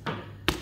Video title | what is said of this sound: Baguette Prancis, Adonan Cepat Kalis. 100% Berhasil. | dia kaya kopong dan bagian luarnya itu keras kita bentur benturin kayak gini dia enggak papa keras itu